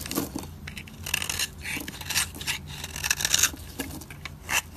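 A dry, solid white soap bar held in the fingers has its edge scraped with a metal utility blade, shaving off fine powdery flakes. Repeated short, bright, dry scraping strokes rasp and crackle with little low end and almost no ring after each pass.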